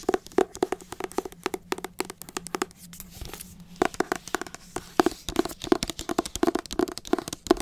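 Long acrylic nails tap and scratch the cover of a teal hardcover book held close to the microphone. Quick, dry taps with a hollow tone around 340 Hz come in fast clusters, broken by a short stretch of softer scratching near the middle. A faint low hum runs under the first half.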